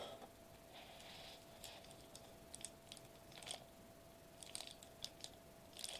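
A thin, flat sheet of silver metallized plastic bubble wrap with small air bubbles lies on a white table while both hands tap and press it rapidly with fingertips and short nails. Quiet, bright crinkling crackles and sharp ticks come in irregular bursts, with a faint steady low hum underneath throughout.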